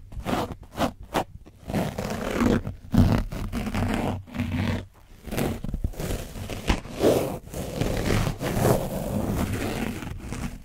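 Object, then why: Foam microphone windscreen coated in dried paint, rubbed with a foam sponge brush. A black foam sponge brush scrapes and dabs, with both its flat and its edge, across an orange, dried-paint-coated foam windscreen on a microphone. It makes rough, crunchy, scratching bursts with a heavy low rumble, some quick and separate, others longer, dense strokes. The strokes come in an irregular, close-up stream of scraping and brushing noise.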